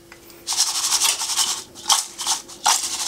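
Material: Fried meat.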